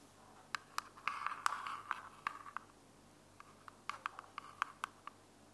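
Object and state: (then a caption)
Plastic earbuds charging case. Long decorated fingernails tap and scratch a small, hollow, closed white plastic wireless earbuds charging case held in one hand. Sharp, clicky taps with a bright, hollow ring are spaced through the clip, with a brief rasping scratch in the first half. Each tap cuts off almost instantly against a quiet background.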